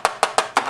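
A padded plastic wrist rest with rubber to stop it moving, clipped onto a TTesports Meka G Unit mechanical keyboard, is tapped five times. Each tap is a short, dry, hollow knock centred near 1 kHz that dies away almost at once, showing the wrist rest is hollow.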